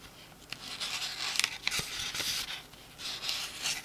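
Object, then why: Paperback book paper pages. Fingertips riffle and rub the edges of the paper pages of a small open paperback book. It makes bright, dry rustling and scratching with a few sharp flicks and almost no low end. The bursts of papery hiss swell and fade over the few seconds.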